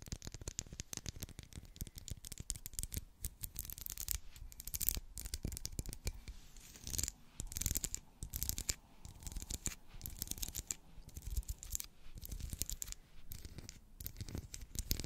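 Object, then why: Ridged wax pillar candle. Long black acrylic nails scratch and tap along the ridges of a solid, medium pink twisted-ridge wax pillar candle. The result is a dense, continuous stream of crisp, bright scratches and quick dry taps with soft low thumps underneath, rising and falling in short bursts throughout.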